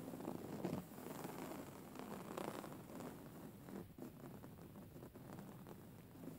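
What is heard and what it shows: Medium-length nails scratch a grey faux fur stuffed cushion and fingertips tap it, giving a soft, continuous rustling with low, muffled thumps. The texture pulses unevenly, louder near the start and fading slightly toward the end.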